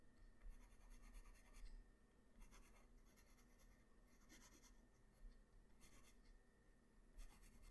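A graphite pencil tip makes short sketch strokes on a flat white paper sheet, producing bursts of bright, dry scratching. The bursts come in clusters separated by quieter gaps over a steady low hum.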